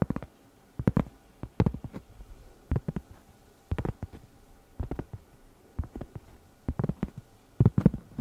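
Long red nails scratch and tap the surface of a round, flat, solid cork pot holder about 20 cm across, held up in the air. Quick clusters of dull, muffled, low taps sound with almost no ring, separated by short quiet gaps and soft scratching.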